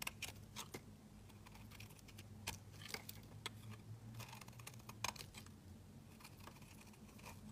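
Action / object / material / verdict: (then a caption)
scrape / soap bar shaved by a metal blade / soap / none. A metal utility-knife blade shaves thin strips off a small, solid, olive-green olive-oil soap bar held in the fingers, with a loose shaved strip held in the middle. The cuts make quiet, crisp, bright scraping and crackling ticks in irregular bursts over a steady low hum.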